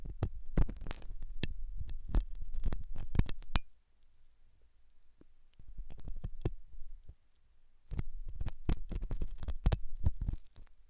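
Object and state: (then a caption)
Silicone ear microphone scraped with metal tool. A thin hooked metal dental tool scratches inside the ear canal of a white silicone dummy ear on a binaural microphone, the ear soft and solid-looking. Close, low, rumbling scrapes and sharp clicking ticks come in dense bursts, pause briefly around the middle, then resume, with a faint high hiss underneath.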